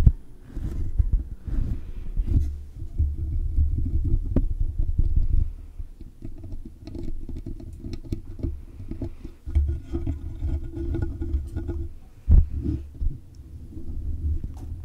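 Fingertips and nails scratch and tap the hollow metal mesh grille of a large microphone while hands are cupped around it. The result is a dense, close, boomy rumble of soft thuds and brushing scrapes, almost all low-end, broken by a few sharper, louder taps.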